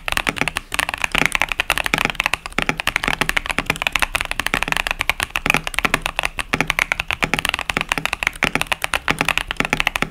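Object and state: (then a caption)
Mechanical keyboard with plastic keycaps. A KBD67 Lite 65% mechanical keyboard with Boba U4T tactile switches and pastel plastic keycaps, resting on a desk mat, is typed on steadily with the fingertips of both hands. Quick, dense key presses produce sharp, bright clacks that stop almost instantly.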